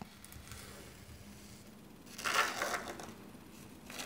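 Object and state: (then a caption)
Rake scraping through fine sand. A small dark rake on a long thin handle is dragged and scraped through fine white sand in a shallow black rectangular tray, a miniature zen garden. A soft, faint hiss builds into a louder gritty, crackling scrape midway through, then fades and rises again briefly at the end.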